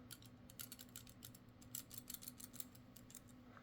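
An old, cheap metal balisong knife with a partly serrated blade, roughly 20 years old, has its handles wiggled back and forth. It gives a rapid run of light, high-pitched metallic clicks and rattles over a low background hum. The handles move easily, and the rattling reveals loose handle play and loose construction.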